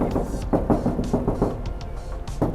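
A series of short, dull knocks sounds as the aluminium body panel of a 1948 Land Rover Series 1 is struck, with the panels joined by their original spot welds rather than welded like steel. Each knock is low and muted with almost no ring, showing the normal sound of the aluminium body.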